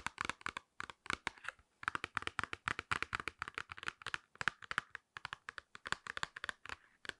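Long nails tap, scratch and squeeze a small, flat, hand-sized printed cardboard box of nose pore strips that is hollow. The result is clusters of rapid, dry, sharp clicks and scratchy taps with brief pauses between them. The sound is centered in the mids with bright edges and stops dead after each hit.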